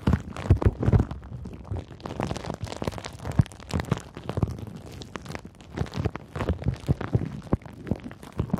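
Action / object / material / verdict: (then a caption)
scrape / plastic bubble wrap / plastic / none. Fingers with long nails squeeze and crinkle bunched, clear pink plastic bubble wrap. A steady stream of short, dry crackles and soft pops is heard, mostly low and muffled with little brightness, with no ring after each one. The crinkling keeps up for the whole clip, with louder bursts near the start and scattered throughout.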